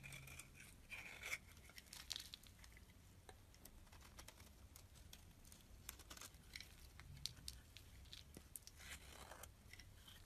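A knife blade shaves the surface of a solid pale pink oval soap bar held in the palm. The scraping comes as a quiet, steady run of short, crisp, bright rasps and crackles over a faint low hum, with each stroke dying away almost instantly.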